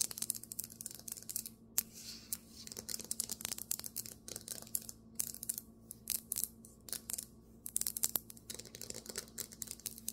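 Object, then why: Marble table top. Fingernails tap quickly on a marble table top, with some scratching, giving rapid, crisp, bright clicks that die away almost instantly. The taps come in dense, uneven bursts over a faint steady low hum.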